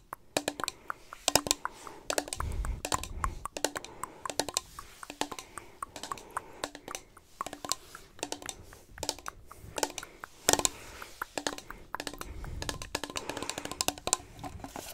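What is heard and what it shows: A small, empty, hollow clear plastic cup is held up in the hands and tapped with long nails and fingertips beside the microphone. The result is a rapid, irregular stream of sharp, bright clicks and taps with a light hollow ring around 650 Hz. A few softer, duller thumps mix in along the way.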